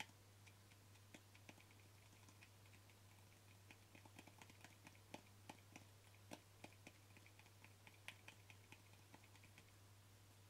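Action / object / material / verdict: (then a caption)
tap / small plastic jar with lid / plastic / none. Fingertips and short nails tap the white plastic lid and side of a small, hollow white plastic jar with a green paper label, held in the hand. The result is a quiet, irregular series of short, bright clicking taps over a steady low hum.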